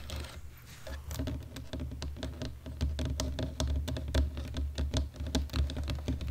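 Fingertips of both hands type on a black plastic computer keyboard, producing an irregular run of quick, dry key clicks with bright, sharp edges. A steady low hum sits beneath the tapping throughout.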